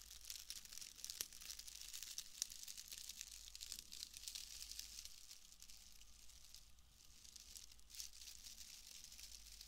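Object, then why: Wood wool shreds. A pale bundle of wood wool shreds is squeezed and crinkled with fingers, giving a soft, continuous crackle of dry, brittle rustling. The sound is bright and hissy, with dense tiny snaps and a faint steady low hum underneath.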